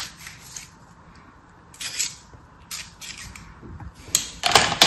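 A metal craft knife scrapes and cuts along the surface of beige kinetic sand packed into an orange plastic star mold held in hand. Soft, gritty scraping strokes come in short, bright, hissy bursts over a quiet background, with the last strokes the loudest and harshest.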